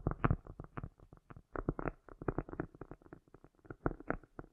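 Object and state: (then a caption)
Cork disc. Long nails tap and scratch across the surface and edge of a round, solid cork disc held in the hands. The result is a quick, uneven run of soft, dull knocks and brief scratchy bursts, mostly low with some mid-range rasp, each fading fast into a faint echo.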